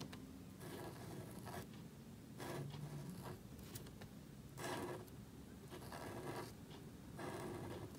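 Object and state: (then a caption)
Marker nib scratching on cardstock. A marker nib scratches and rubs across a small, thin black cardstock card resting on a table while lettering. The result is a series of quiet, dry scratching strokes with bright, airy friction, separated by short pauses over a soft low background rumble.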